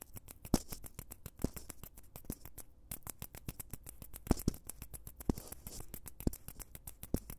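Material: Foam.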